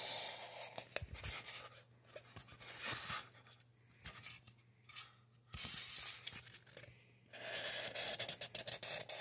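A felt-tip marker is drawn in repeated strokes over a solid white polystyrene foam mannequin head, adding hair lines across the grainy bead surface. Bursts of dry, bright scratching alternate with quieter pauses, and a faint low hum sits underneath.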